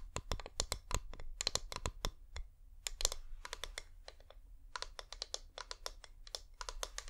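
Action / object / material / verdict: tap / wax-coated plastic pillar candle / wax, plastic / none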